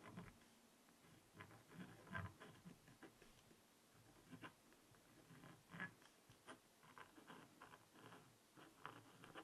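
A pointed wooden stylus, held in the hand, scratches letters into the coating of a small spiral-bound black scratch-art notepad (coated paper over a rainbow layer) lying flat. Quiet, irregular scratchy strokes rise and fade in short bursts, with soft gritty texture and brief bright edges.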